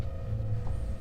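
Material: Nothing is struck.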